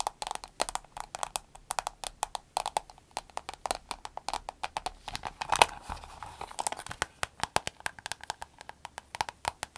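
An empty, soft, green glossy vinyl glasses case with a snap button is tapped with long nails as it rests on a table, then lifted and squeezed. Dozens of quick, dry clicks land in a steady, irregular patter, with a bright mid-range tick and a few louder taps along the way. Soft crinkling runs between the taps.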